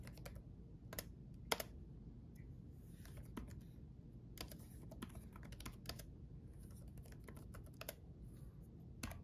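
Fingertips of both hands type on a black laptop keyboard with backlit plastic keys. The result is quiet, irregular, sharp, dry clicks of uneven loudness over a steady low hum.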